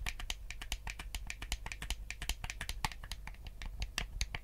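A white, hollow plastic Nintendo GameCube controller is held in both hands while fingertips tap and click its buttons. The result is a quick, steady run of short, dry plastic clicks with a bright, high edge, set over a faint low hum.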